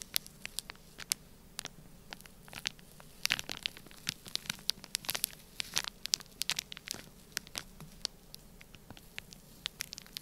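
A black plastic stylus scratches and presses lines across a flat, sealed, clear plastic bag full of orange kinetic sand. The result is a quiet stream of sharp, bright crackles and crinkly ticks with almost no low end. The clicks are scattered irregularly, with denser bursts in the middle.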